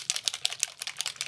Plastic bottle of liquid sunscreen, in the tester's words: very runny, as you can hear when I shake it up